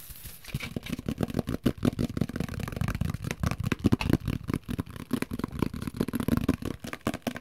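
A large, hollow, empty translucent plastic microwave plate cover, a dome lid with vent slots and a top handle, is held in both hands and tapped and scratched with fingertips and nails. Fast, dense tapping gives hollow, low thumps with a plasticky resonance, layered with light, bright scratching that runs steadily through the clip.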